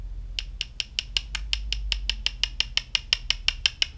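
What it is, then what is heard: Hard 3D-printed resin parts (hard, ABS-like). Two 3D-printed parts in XSeries (XGreen) resin, part of a GoPro frame, are tapped end to end about 20 times at a steady pace. Each tap is a short, bright click centred near 3 kHz that dies away almost instantly. The sharp sound fits the hard, ABS-like resin and contrasts with prints in a softer resin blend.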